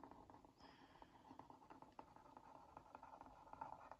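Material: Cardboard.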